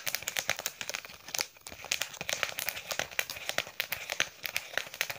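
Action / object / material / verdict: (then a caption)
scrape / faux leather wallet / faux leather / none. Long yellow painted nails scratch and tap the textured surface of a green embossed faux leather wallet held upright. The result is a dense run of quick, dry clicks and crinkly scratching that sounds bright and thin, with almost no low end. Each tap stops short without ringing.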